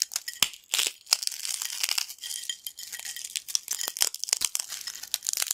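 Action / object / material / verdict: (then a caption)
scrape / corn snack chips crushed by hand / corn snack / none. A pile of broken yellow corn snack chips on a black plate is crushed and crumbled between fingertips. It makes dense, bright crackling and crunching with rapid sharp snaps and almost no low end. The bursts come in quick clusters with brief quiet gaps.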